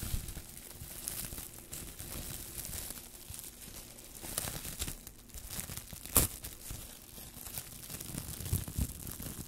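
A loose, crumpled sheet of thin, clear plastic cling wrap is held in both hands in front of the microphones while fingertips crinkle, scrunch and pull it apart. The result is a steady stream of bright, crackly crinkling and tearing over a low rumble, with a sharp, louder snap about six seconds in.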